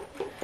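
A shoe heel is tapped twice, giving two short, hollow knocks with a mid-pitched tone around 390 Hz and little low or high content. The heel sounds really hollow, a sign of cheap quality, and the shoes are expected to fall apart.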